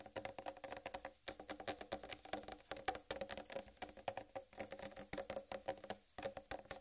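Long red nails tap and scratch across the solid rind of a large, whole, uncut watermelon while the hands grip its sides. A rapid, dense patter of dozens of short, dry taps with a hollow mid tone around 766 Hz blends with light scratching, each hit dying away almost at once. Brief lulls come near 1.2 and 6.1 seconds.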